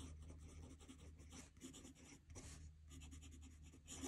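A metal fountain pen nib scratches across a squared paper notebook page lying flat on a desk as a hand writes. Bright, raspy strokes come in quick, uneven bursts over a steady low hum, with a louder scratch near the end.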